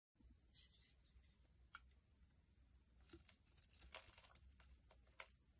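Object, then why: Glycerin soap bar. A small, solid, translucent red glycerin soap bar held in the hand is scraped and shaved with a metal utility blade, its curls falling onto a wooden surface. Quiet, bright, papery scraping and crisp shaving strokes come in a loose string of short rasps over a low steady hum, growing busier and denser toward the middle before easing off.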